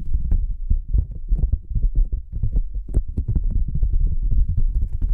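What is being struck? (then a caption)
Thin cardboard sheet. A thin, flat white cardboard sheet held upright between two microphones is tapped and scratched with long almond-shaped nails and fingertips. It makes a dense, rapid run of deep, muffled thumps and soft scrapes that sit almost entirely in the low range, like a throbbing pulse. Each tap dies away almost instantly.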